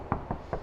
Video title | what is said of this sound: FJ Cruiser - Is there beauty inside the beast? | So yeah, the doors have been soundproofed, so you can hear there's no tinny sounds to them at all.